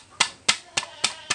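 A piece of clear, glass-like crystal polystyrene (PS) scrap plastic, marked with recycling code 6, is tapped five times while being sorted. Each tap gives a short, bright, clicky ring that fades almost at once, confirming it as brittle PS plastic by its clear ringing sound.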